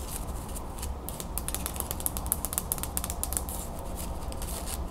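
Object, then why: Wooden folding fan with carved slats. Long nails scratch a closed wooden folding fan with carved slats, then open it and run across the spread slats. The result is a rapid stream of short, dry, bright clicks and ticks over a steady low rumble, growing busier in the middle of the clip.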